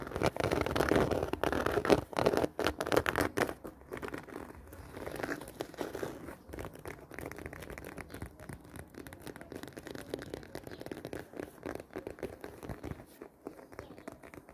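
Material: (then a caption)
Faux leather. Long dark-painted nails scratch across the woven surface of a medium, round, hollow black handbag made of woven faux leather. The result is a dense, crinkly scratching, loudest and roughest in the first few seconds, then settling into a quieter, steady rasp for the rest of the clip.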